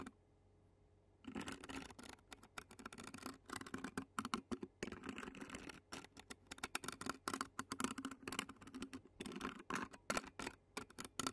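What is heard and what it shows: Clear plastic fork tines scratch the black metal mesh grille of a handheld Zoom recorder while a long-nailed hand rests on the recorder's body. After about a second of near silence, dense bursts of rapid, bright, rasping scratches start and stop in quick runs with short pauses between them.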